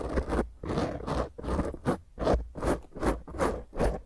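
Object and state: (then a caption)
Foam microphone windscreen. Long painted nails and fingertips of both hands scratch and rub roughly over a small, rounded black foam windscreen on a microphone. The result is a steady run of scratchy, crunching strokes, roughly two to three per second, each swelling and fading with a deep rumbling thump underneath and little high-end brightness.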